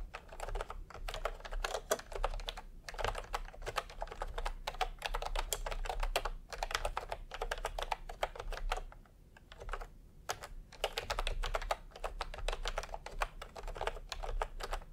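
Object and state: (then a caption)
Plastic keyboard, typing. Fingertips type in continuous taps on a full-size plastic typewriter-style computer keyboard with round retro keycaps in peach and cream, lying on a white cloth. The result is a steady stream of short, dry plastic clicks with a brief lull near the middle, over a faint low hum.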